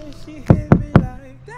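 Three knuckle knocks on the plastic hull of an overturned Waka Billy kayak give dull, hollow, low-pitched thuds that die away almost at once. The hull plastic is much thinner than on a Pyranha Scorch kayak and dents in quite a bit when pushed.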